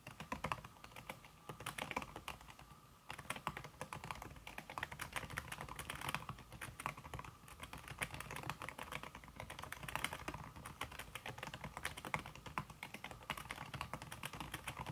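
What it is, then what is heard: Aluminum keyboard with silicone key cover, typed on. Fingertips with red-painted nails type fast on a slim, backlit aluminum keyboard whose keys are covered by a red silicone skin. A dense, steady stream of short, crisp key clicks with a bright edge runs throughout, pausing only briefly around the three-second mark.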